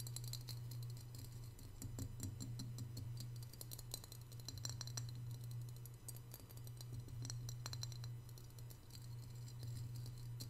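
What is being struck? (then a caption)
Glazed ceramic piggy bank. Fingertips and short nails tap on the ears and head of a small, hollow, white glazed ceramic piggy bank standing on a marble table. The taps come as quick, light, bright clicks with very short ring, over a steady low hum throughout. The hands pull back at the end.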